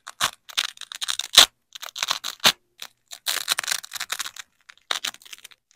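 Black-gloved fingers peel a large yellow nylon hook strip away from a black loop strip of hook-and-loop fastener. It makes a series of short, bright, crackly ripping bursts separated by brief pauses, with almost no low end.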